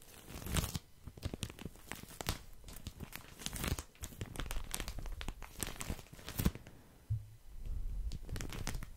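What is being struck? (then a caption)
Soft plastic package of cotton pads. Fingertips scratch and crinkle the soft plastic wrapping of a full package of cotton pads. The result is a dense run of quick, dry crinkles and scratchy crackles with bright edges over a soft low rustle, pausing briefly before carrying on.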